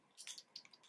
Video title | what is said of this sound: Add A Little Drama To Your Work Makeup: So much info! | you shake it. Hear that little ball?